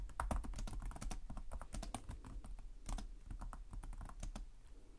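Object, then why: Plastic laptop keyboard. Both hands type with their fingertips on the plastic keys of a black laptop keyboard, producing a fast, continuous stream of short, crisp clicks and taps. A steady low hum runs underneath throughout, and the typing eases off slightly toward the end.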